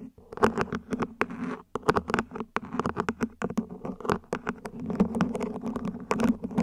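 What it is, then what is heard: Ribbed plastic plant pot scratched and tapped. Long nails scratch and tap across the ribs of a small, hollow, mint-green ribbed plant pot, probably plastic, placed upside down. The result is a quick, uneven run of short, dry clicks and raspy scrapes with a hollow, low-mid body and very little ring.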